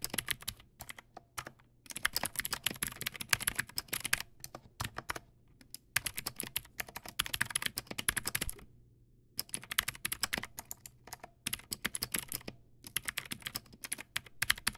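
Fingertips type on a Teamwolf Zhuque+ X08 backlit plastic mechanical keyboard with white plastic keycaps and clicky blue switches. Rapid bursts of sharp, bright clicks come in rhythmic runs, separated by short pauses, with a faint low thump under each keystroke.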